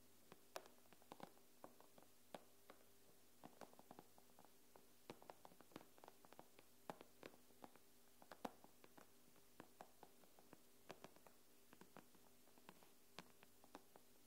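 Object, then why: Tablet glass screen. Long fingernails tap rapidly and irregularly on the glass screen of an iPad, producing dozens of quiet, sharp clicks that stop almost instantly. A faint, steady low hum runs underneath the whole time.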